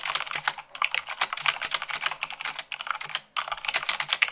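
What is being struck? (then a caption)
Plastic mechanical keyboard keys. Fingertips with long nails type fast on white plastic keycaps of a black mechanical keyboard. Dense, bright clicks and clacks come in quick bursts, with brief pauses between runs, and each keystroke dies away almost instantly.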